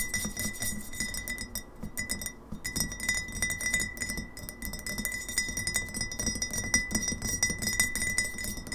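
Long nails tap fast on the sides of a hollow GT's Synergy glass kombucha bottle with a paper label, standing on a table. A dense, uneven stream of quick clicking taps carries a bright glassy ring near 2 kHz that fades almost at once after each tap.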